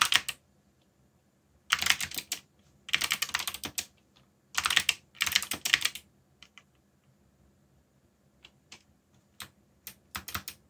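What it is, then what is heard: Mechanical keyboard with plastic keycaps. Fingertips type on the plastic keycaps of a black backlit mechanical keyboard. Bursts of quick, bright clacking keystrokes alternate with pauses, then taper into scattered single key taps.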